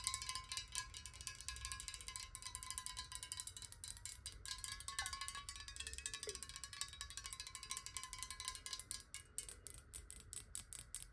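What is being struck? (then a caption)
Glass bottle with water. Long nails tap rapidly on the sides and bottom of a clear glass bottle holding water, held horizontally. The quick, bright clicks blur into a steady patter over a soft ringing glass tone near 1 kHz, with a low rumble underneath.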